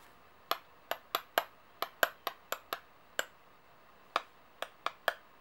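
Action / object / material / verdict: tap / metal coins / metal / none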